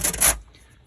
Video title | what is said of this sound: Magnepan MGI Glue Removal Pt1 | This is still still crunchy.